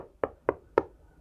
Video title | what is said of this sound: The right case for your precious hardware | it sounds completely different already this is also way thicker way heavier